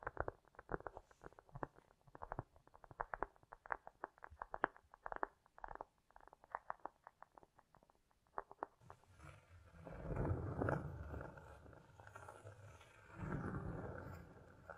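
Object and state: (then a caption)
Cork disc. A round, flat, solid cork disc about the size of a plate, lying on a fur rug, is tapped and scratched with long acrylic nails under a strong echo effect. For the first nine seconds there are quick, irregular, dull mid-range taps. Then come louder, continuous, rough scratching swells with a deep, muffled body.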